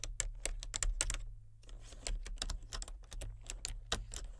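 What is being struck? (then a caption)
Plastic membrane computer keyboard. Fingertips type on the main keys and number pad of a solid, full-size plastic membrane computer keyboard with a colour-changing backlight. Quick, bright plastic clicks and taps come in an uneven run, with a short pause after about a second, over a steady low hum. Each keystroke stops almost at once.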